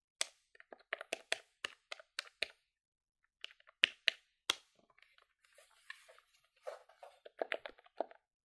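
A silver plastic desktop calculator with dark keys is held in both hands, and long-nailed fingertips rapidly press its number keys. The hollow plastic gives quick, bright clicks and taps with almost no low end, in irregular bursts that blur into softer clatter toward the end.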